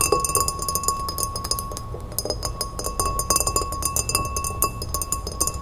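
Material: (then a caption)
Glass. A tall, empty, clear pilsner-style glass standing on a wooden table is tapped rapidly with long red-painted fingernails. The result is a dense run of quick, bright clicks and clinks over a steady ringing tone near 1.1 kHz, with each tap dying away fast.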